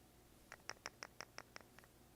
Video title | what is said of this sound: NitroBex Reviews DB Modz DA Mini V2 vs A to Z Vapor World GENOME | The Gnome if you shake it there's a very very minor battery rattle